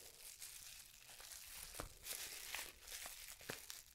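A small, hollow, empty pouch of air-bubble plastic wrap is held close to the microphone and crinkled, squeezed and rubbed between the fingertips of both hands. It gives a steady, bright, hissy crinkle with little low end, broken by several sharper crackles and snaps that die away quickly.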